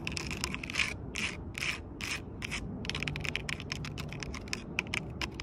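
Long purple acrylic nails scratch and tap the rough, ridged bark of a large, solid fallen log outdoors. Quick, dry, bright scratching bursts follow one another in an uneven rhythm over a steady low background rumble, each sound stopping short with no ring.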